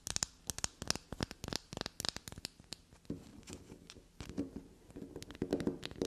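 Long glossy black natural nails tap and scratch a small solid black soap bar shaped like a unicorn head, held in the hand. For about the first three seconds, rapid sharp, bright clicks and taps follow one another. The rest is softer, steadier scratching and scraping with a faint low hum, punctuated by a few louder scrapes.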